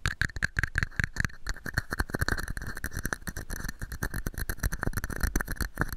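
A small, hollow, empty red and white plastic cup sits upside down over a microphone and is tapped and scratched with fingertips and nails. Rapid, dense hollow taps and scratchy rustles carry a boomy low thud and a resonant tone near 1.6 kHz, each tap dying away almost at once.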